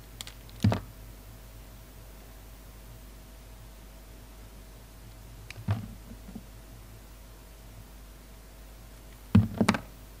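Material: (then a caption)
Soap. A utility knife blade slices and scrapes the petal layers of a solid, palm-sized carved soap flower, a red and green poppy. Short, dull, low cutting thuds and scrapes come in three bursts separated by long stretches of quiet low hum.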